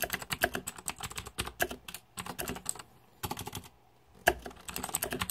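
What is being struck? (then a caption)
Mechanical keyboard with plastic keycaps. Rapid fingertip typing on a green-backlit Razer 2014 Deathadder mechanical keyboard with plastic keycaps gives a dense run of short, crisp clacks with a bright edge and almost no ring. The typing comes in bursts, pausing briefly around the two-second mark and again for about a second before one sharp, louder key strike restarts a steady flurry.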